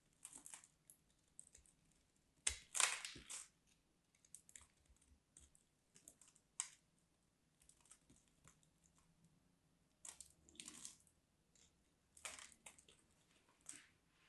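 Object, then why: Soap bar cut with a small knife. A small craft knife cuts and scrapes along the edge of a solid, dry white bar of soap. It makes quiet, irregular bursts of crisp, bright scraping and crumbly crunching, with short pauses between strokes.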